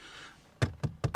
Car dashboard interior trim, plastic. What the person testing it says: à quelques endroits ça sonne encore un peu creux